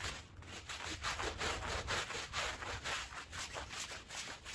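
A green push broom scrubs a small, dirty, fringed woven fabric rug that is wet and soapy. Quick back-and-forth strokes, about two per second, make a bright, wet, swishing scrape with a soft low rumble underneath.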